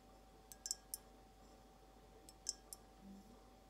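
Long acrylic nails tap a clear, hollow, empty glass carafe vase as it is rotated in the hands. Sharp, bright clicks with almost no ring come in two loose clusters separated by a pause, over a faint steady hum.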